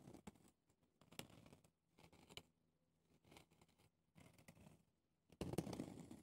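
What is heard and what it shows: Fingernails with red polish scratch the rough round pumice stone top and the clear ridged plastic sides of a small hand-held foot brush with bristles. Soft, dry, gritty scratching comes in short bursts separated by brief pauses, with low, rough scraping and faint bright edges. The final burst is the loudest and densest.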